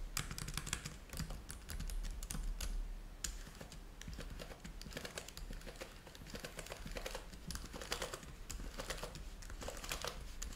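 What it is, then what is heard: Plastic laptop keyboard. Fingertips type steadily on the keys of a black plastic laptop keyboard, producing a rapid run of short, crisp clicks with bright ticking edges. A steady low hum runs underneath the clicking throughout.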